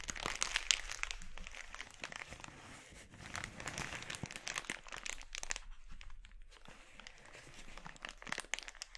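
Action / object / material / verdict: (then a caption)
scrape / thin polyethylene mailer bag / plastic / none. Fingertips pinch and crinkle an empty, glossy red, thin polyethylene mailer bag as it is spread out and then gathered on a wooden board. The result is a quiet, irregular stream of bright, crisp crackling and rustling, with a few sharper crunches near the start and end.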